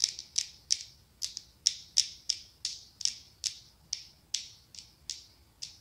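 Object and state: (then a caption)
Glass candle jar tapped with fingernails. A small, ribbed, pumpkin-shaped glass candle jar filled with orange candle wax is tapped and scratched with long acrylic nails. About 17 sharp, bright clicks with brief scratchy tails come at an uneven pace, with no low-end body.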